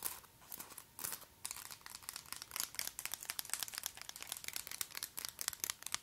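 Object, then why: Acrylic nail extensions. Extremely long, white, pointed acrylic (plastic) false nails on both hands are interlocked, then tapped and clicked against each other close to the microphone. The result is a quiet, rapid stream of dry, bright clicks and crinkly ticks with almost no low end and no ring.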